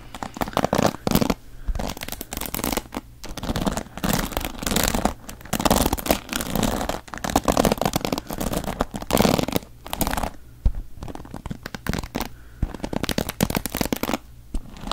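Fingertips and nails scratch and strum the pin bristles of a wooden paddle hairbrush held up close to the mic. Dense, crackly bristle scratches come in rapid bursts, with a low rumbling body and a bright, papery hiss. Short pauses break up the strumming throughout.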